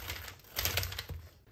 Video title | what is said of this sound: 莲藕不炒着吃了，试试这样做莲藕丸子，外酥里嫩不回软，太香了【刘二姐美食】 | 저 소리를 들어 보세요 아주 예뻐요 바삭바삭해요